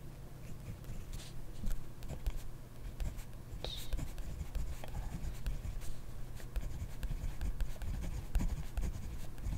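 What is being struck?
Ballpoint pen on paper notebook page.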